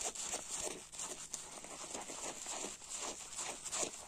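A single hand-sized yellow porous foam kitchen sponge, soaked and covered in soapy foam, is held over a grey plastic basin and scratched and rubbed with fingernails and fingertips. It makes a continuous, bright, zipper-like scratching with wet crackle and repeated rasping strokes and almost no low end.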